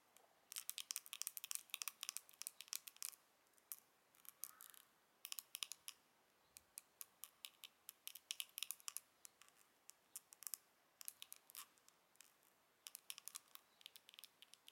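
Long acrylic nails tap and scratch the gold embossed lid of a small, hollow, square Charlotte Tilbury eyeshadow compact with a gold metal finish, held closed in both hands. Dense, quick, bright clicks come in bursts with short pauses, each dying away almost instantly, and there is no low end at all.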